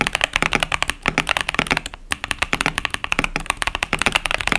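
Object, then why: Plastic mechanical keyboard. Continuous two-handed fingertip typing on a compact KBD67 Lite mechanical keyboard with a plastic case, cherry-profile keycaps and tactile Boba U4T switches. Quick, dry, bright clacks with a slight low thock run in a steady stream, with a short pause near the middle. Each keystroke dies away almost instantly.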